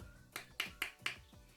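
Frozen raw savory bonbons made from a dough of flour, parmesan, cream, egg yolks and butter are tapped together four times, giving sharp, bright clicks with a stone-like ring. The sound shows they are frozen completely hard before being left to thaw 15 to 20 minutes ahead of baking.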